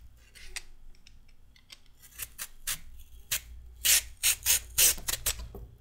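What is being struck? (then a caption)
Raw carrot and metal peeler. A solid raw carrot is shaved into ribbons with a metal peeler, giving a series of bright, rasping scrapes that build from quiet strokes to louder, crisp swipes. The strokes come at an uneven pace over a faint low hum, each one short and dry with almost no ring.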